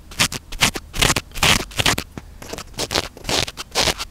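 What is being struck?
Foam microphone windscreen.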